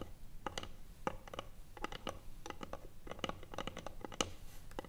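Long nails tap and scratch the top of a small, hollow, closed rectangular wooden box with a metal clasp sitting on a table. Quick, dry, irregular taps with a slight hollow ring are mixed with brief scratching. A low background rumble runs underneath.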